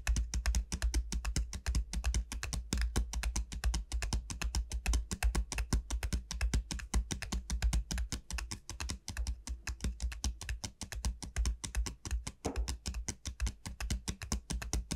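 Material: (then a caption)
Dried gourd. Long nails of both hands tap rapidly on the hard shell of the wide bulb of a large, hollow dried bottle gourd. The result is a dense, uneven stream of short, sharp clicks over a low, hollow thump, with each tap dying away almost at once.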